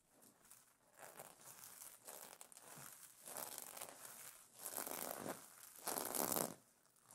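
Long nails scratch and brush back and forth across iridescent plastic sequins on a pillow cover. Each stroke makes a bright, dry crinkling rustle, and the strokes swell in waves that grow louder toward the end.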